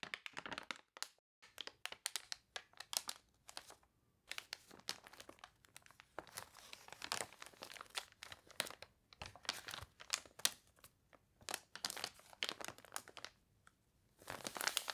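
Long nails and fingertips scratch and rub the wavy, glossy pages of a water-warped paper toy catalog. Quiet, bright crinkling and crunchy scratching come in rapid, dry bursts with brief pauses between, with almost no low end.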